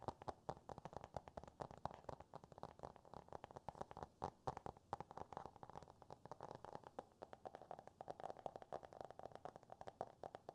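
Fingertips and nails tap and scratch the glossy cardboard cover of a closed *Green Eggs and Ham* hardcover book held upright. A quiet, rapid stream of short, dry taps carries a hollow midrange tone around 800 Hz, with soft scratching between them and very little low or high end.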